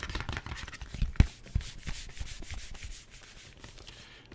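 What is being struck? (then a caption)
Small paperboard product box. Fingertips and nails scratch and tap the surface of a hollow, hand-sized, flat printed paperboard screen-protector package, a cardboard product box, held close to the mic. Dry, papery rubbing and scraping runs throughout, with soft, low, hollow thumps and a couple of sharper taps standing out early on. The scratching trails off toward a quieter end.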